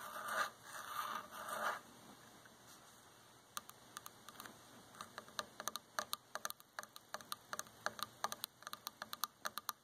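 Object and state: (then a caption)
Wooden chair armrest. Long nails and fingertips scratch and tap the arm of a dark varnished, solid wooden chair. The clip opens with nearly two seconds of raspy scratching, falls quiet, then from about 3.5 seconds brings a quickening run of sharp, bright, clicky taps that die away almost instantly. The taps center around 1.2 kHz.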